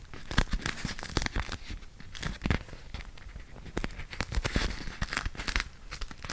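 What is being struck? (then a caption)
Beeswax-coated cotton food wrap. A folded, printed beeswax-coated cotton food wrap is held in both hands while fingertips and nails pull its sticky waxed layers apart and crinkle them. Dense, crackling peels and crinkles come in quick bursts, with sharp bright ticks over soft low handling thumps. Each crackle stops almost at once.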